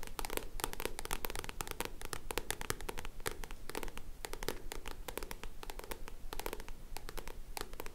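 A black paperback book with a card cover is held in both hands while long nails scratch and tap its card back cover. The result is a steady, irregular stream of quick, dry taps and scratchy strokes, each click sharp, bright and gone almost instantly, over a faint low hum.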